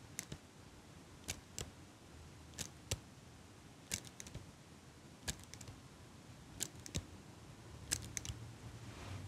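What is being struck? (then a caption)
Metal eyelash curler. A small metal eyelash curler, held close to the mic, is squeezed and clicked by fingers with long pink nails. It makes a loose, irregular series of sharp, bright metallic clicks, some in quick pairs, that die away almost instantly over a low, steady background hiss.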